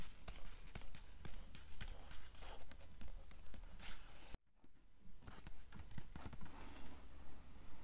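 Long nails tap and scratch the paper pages of an open blue book with yellowed edges. About twenty soft, dull taps land in a steady rhythm, each with a short low thump, layered over a continuous papery scratching. Near the middle, the sound briefly drops to near silence before the tapping resumes.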